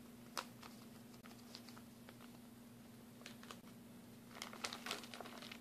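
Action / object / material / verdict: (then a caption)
tap / plastic packaging bag of glue sticks / plastic / none. A clear plastic packaging bag with a blue label, full of mini glue sticks, is tapped with fingernails and crinkled. Quiet, scattered crinkles and bright ticks come in loose bursts, busiest near the end, over a steady low hum.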